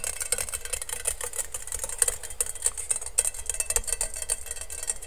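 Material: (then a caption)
Stainless steel. Fingertips and nails quickly tap and scratch the perforated base of a medium, hollow, empty stainless steel colander held upside down near the mic. The result is a fast, steady stream of dry clicks and scrapes with a bright, thin metallic sheen. Each tap dies away almost instantly over a faint low rumble.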